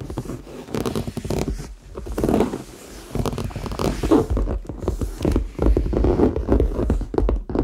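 Fingertips tap and scratch the sides and top of a hollow red leather handbag held in both hands, possibly touching its zipper. The result is a fast, irregular run of soft, dull taps mixed with scratchy rustling, mostly low and mid in tone with little brightness and almost no ring after each touch.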